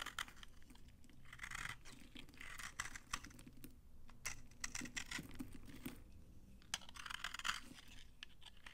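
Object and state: Dry soap bar scraped with a blade.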